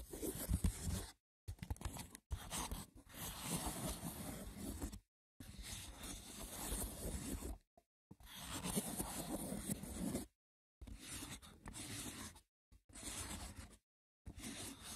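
Fingertips and short nails scratch the top surface of a hollow, braided woven seagrass wicker box. Rough, crackly scraping comes in bursts broken by short silences, with a dull, low-heavy body and little ring.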